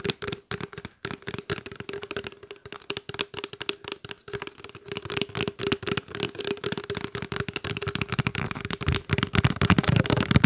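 A small, clear, open plastic water bottle, hollow and nearly empty, is tapped and scratched with fingertips and nails in rapid, irregular bursts of dry, short clicks and crackles. A faint steady tone sits underneath, and the taps grow louder and fuller toward the end.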